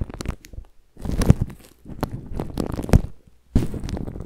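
A microphone tightly wrapped in thin, crinkly clear plastic cling film is scratched and rubbed by a black-gloved hand and bare fingertips. Close, muffled crinkling and scratching come in uneven bursts separated by short silences, with most of the energy low and dull rather than bright.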